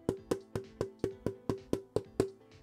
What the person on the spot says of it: it doesn't sound, not brittle, it just feels harder